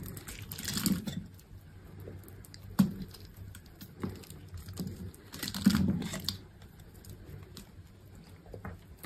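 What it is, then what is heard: Dry bar soap being carved. A hand-held solid green bar of dry soap is scored and shaved into strips with a metal utility knife blade. Soft, gritty scraping swells alternate with a few sharp, dry cuts and clicks. Quieter scratching fills the gaps between them.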